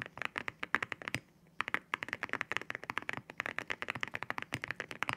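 Fingertips type on a white mechanical keyboard with ceramic keycaps, seen from the side. About 35 quick, bright clacking keystrokes sound in rapid succession, each ringing sharply around 1.7 kHz and dying away almost at once. A short pause falls just after the first second before the typing resumes.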